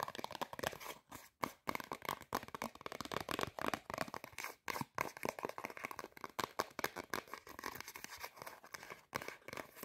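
Long painted nails rapidly scratch and tap a small, thin, flat white printed Zara cardboard price tag held in both hands. The result is dense, dry, papery scratching and crinkling in quick bursts with brief pauses, bright in the midrange with almost no low end.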